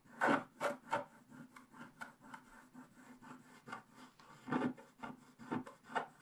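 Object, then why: Coated scratch-art paper page scratched with a wooden stylus. A wooden stylus scratches short strokes across a flat scratch-art paper page with a black coating. The result is a quick series of dry, rasping scrapes, some louder and longer than others, each fading almost at once.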